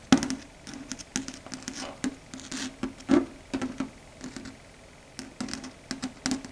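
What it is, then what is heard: Chalkboard surface tapped with fingernails. Long red stiletto nails tap on a flat, solid dark grey chalkboard surface, making quick, light clicking taps in an uneven patter. Each tap is short and dry with a low hollow tone and a bright tick on top, with quiet gaps between the bursts.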